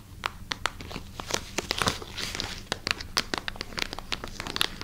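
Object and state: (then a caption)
Plastic packaging bag. Long nails scratch and crinkle a clear plastic bag holding a wooden knobbed massager, held beside the mic. A steady bright crinkling is broken by many sharp, quick clicks and scratches, with most of the energy high and little low end.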